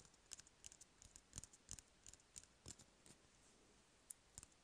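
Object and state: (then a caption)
Cardboard toilet paper roll. Fingernails tap and scratch an empty, hollow cardboard toilet paper roll, giving about nineteen quick, dry, bright clicks at an uneven pace of roughly three per second. Each tap is quiet and dies away almost instantly, with faint scratchy rustling in between.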